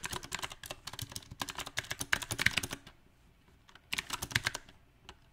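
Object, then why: Mechanical keyboard with plastic keycaps on a metal frame. Fingertips type on a mechanical keyboard with round plastic typewriter-style keycaps on a silver metal frame, giving bright, short clicky key taps. A dense, uneven burst of typing runs for almost three seconds, then stops, followed by a shorter flurry and one last isolated tap.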